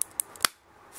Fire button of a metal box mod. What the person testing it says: but it does rattle if you shake it